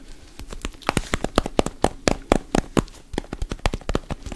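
A whole orange with a solid, textured peel is held in the hands and tapped and scratched with fingertips and nails close to the mic. About 25 quick, uneven taps land as short, dry knocks with a low thump and crisp clicky tops. Softer peel-scratching rustles fill the gaps between them.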